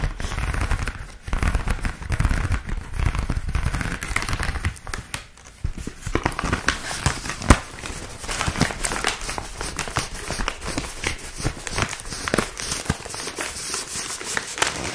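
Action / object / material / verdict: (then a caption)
scrape / corrugated kraft cardboard sheet / cardboard / none. A flexible sheet of brown corrugated kraft cardboard packing is held flat and then rolled in front of the mic while long manicured nails and fingertips scratch and rub along its ridges. For the first few seconds there is a dense, low, rumbling rustle. After that come sharper, rapid crinkles and crackling scratches that continue steadily to the end.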